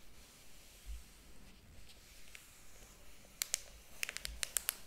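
Fingertips rub and turn the paper pages of a large, thick hardcover book lying open on a table, making a soft, steady papery hiss with faint low bumps. Near the end, a quick run of sharp, bright crackles and ticks comes as the pages are handled and flipped.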